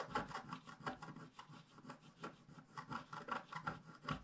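A wooden stylus scratches leaves into the bottom of a flat, black-coated scratch-art page held by a hand. It makes a rapid, irregular series of dry, raspy scratching strokes with a mid-range focus and brief bright edges. Each stroke dies away almost instantly.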